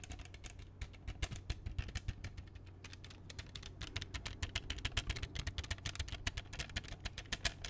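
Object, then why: Hard plastic CD jewel case. An open hard plastic CD jewel case with a black disc inside, small and hollow, is handled and tapped with fingertips and nails. A quick, uneven stream of short, bright clicks and taps rings hollow over a steady low hum, growing a little livelier in the second half.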